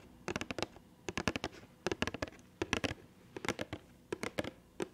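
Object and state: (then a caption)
Cardboard box tapped with fingernails. Long painted nails tap rapidly on a small printed cardboard box for an Attack on Titan Levi figure, held in front of the microphone with the figure still inside. The taps come as quick, dry, hollow clicks in short clustered bursts, each dying away almost instantly, separated by quiet pauses.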